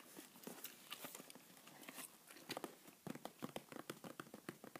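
A small, empty-looking, hollow white printed cardboard shipping box is held in one hand and tapped and scratched with the fingertips and nails of the other while it is turned to show its sides. The result is a run of quick, dry, hollow taps with bright scratchy edges, growing sharper and more closely spaced toward the end.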